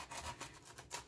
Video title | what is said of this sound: WW Purple Plan- 5 Point Dessert- 4 Ingredients-Banana | You can hear how crispy